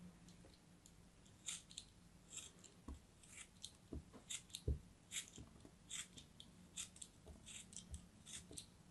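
A craft knife cuts and scrapes through a solid chunk of green kinetic sand held in the hands. The result is a quiet series of short, gritty crunches and scrapes, each a bright grainy hiss over a soft low thud, dying away almost instantly.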